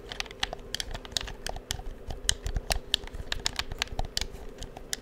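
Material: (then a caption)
Plastic. Fingertips tap and click the buttons of a hollow black plastic PS4 controller held near the microphone. A rapid, uneven stream of short, sharp, bright plastic clicks rides over a soft, hollow low thump and a faint steady hum, with each click dying away almost instantly.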